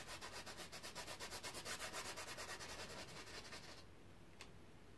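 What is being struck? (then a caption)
Stretched fabric canvas on a frame. A paintbrush is rubbed in quick back-and-forth strokes across a large painted canvas stretched taut over a hollow frame on an easel, making a rhythmic, bright, hissing scrape. The strokes grow slightly louder, then stop just before four seconds, leaving quiet background noise and one brief sharp tick near the end.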